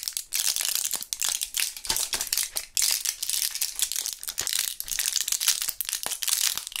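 A full, small plastic blister pack of purple gum pellets with a foil back is squeezed and flexed between gloved fingertips. The plastic bubbles crinkle in a steady run of bright, crackly bursts while the pellets rattle inside, with almost no low end.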